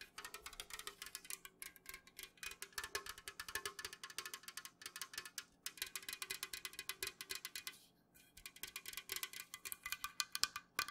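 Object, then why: Aluminum drink can. An unopened, full Jumex Guava Nectar aluminum can is held tilted while long nails tap fast on its printed side. The sound is a dense run of short, bright clicks with a faint hum beneath, broken by a brief pause near the eight-second mark before the tapping resumes.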